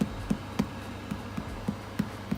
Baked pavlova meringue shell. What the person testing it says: when you hear the hollow sound it's ready